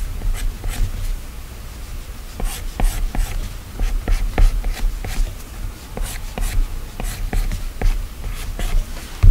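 A hand-held plastic stylus scratches long strokes across the solid glass screen of an iPad. Repeated short, bright scratching swipes sit over a steady low rumble, each stroke dying away quickly.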